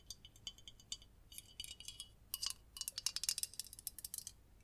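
A red-printed aluminium Coca-Cola soda bottle with a cap, held in the hands, is tapped along its body and bottom with long nails. Quick, bright metallic clicks and tinks come in irregular bursts with almost no ring, quiet and thin with little low end.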